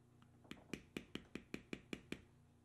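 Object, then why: Vegetable-tanned leather strip on a stone slab, struck through a metal beveler. A metal beveler held in the fingertips is struck repeatedly to tap down a carved tan vegetable-tanned leather strip resting on a stone slab. A faint tap is followed by nine sharp, evenly spaced taps, each a short knock with a mid-low body and a bright click that dies away almost at once.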